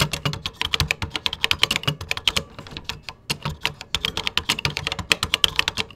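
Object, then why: Plastic computer keyboard. Fingertips type on a vintage 1980s plastic computer keyboard with cream plastic keycaps. A steady stream of sharp, bright key clicks with very short decay and soft low thumps runs throughout, with a brief lull near the middle.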